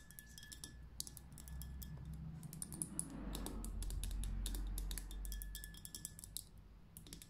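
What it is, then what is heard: Fingernails tapping a glass glitter lamp. Long painted nails tap and flutter quickly on a tall, tapered glitter lamp, a glass vessel full of liquid and glitter on a dark base. Rapid, fairly regular bright clicks sound over a steady low hum. The taps are too dense to count separately.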